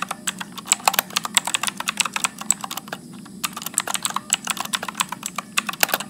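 Fingertips type continuously at medium speed on a backlit Motospeed mechanical keyboard with blue switches and plastic keycaps. The result is a dense stream of sharp, bright, clicky keystrokes that die away almost instantly, with a brief pause around the three-second mark before the typing resumes.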